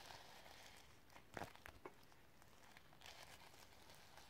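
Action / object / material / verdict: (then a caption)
scrape / sequin-covered notebook cover / plastic sequins / none. Long nails scratch across the iridescent sequins on a sequin-covered notebook cover. A soft, bright crinkling rustle runs throughout, with a few sharper scratchy clicks near the middle. It is quiet and close.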